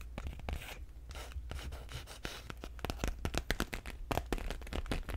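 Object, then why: Clear vinyl (PVC) tote bag. Fingernails scratch, rub and crinkle the thin plastic of an empty clear PVC/vinyl tote bag with black straps, held close to the mic. The result is a dense run of short, dry crackling scratches over a steady low hum, with the scratching growing sharper and louder in the second half.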